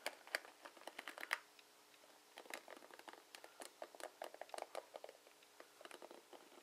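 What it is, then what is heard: Plastic paddle hairbrush. Fingertips and short nails brush, flick and scratch along the plastic pin bristles of a dark plastic paddle hairbrush held by its ribbed handle. The result is a quiet, dry, bright pattering of rapid clicks with almost no low end, broken by a short pause before the flicking resumes.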